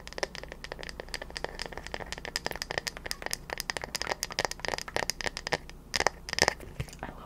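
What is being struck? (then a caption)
Bamboo paddle hairbrush. Long nails tap and scratch the solid-wood back and handle of a bamboo paddle hairbrush held upright. The result is a rapid, uneven run of short, dry clicks with crisp high-frequency scratching and almost no ring after each tap.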